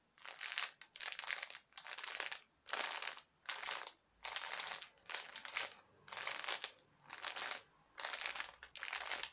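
A clear cellophane package filled with white synthetic spider web and small plastic spiders is held in both hands and crinkled and squeezed with the fingers and nails. About a dozen bright, crackly crinkling bursts repeat at a loose, uneven pace, each separated by a brief pause.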